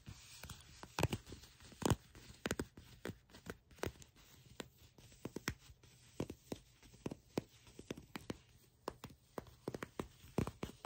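Long pink nails scratch and tap along dark brown leather pants bunched and folded in the hands, the soft material giving off a rapid, irregular string of short, dry clicks and scratchy taps. Each tap is brief with almost no ring, over a quiet, steady low hum.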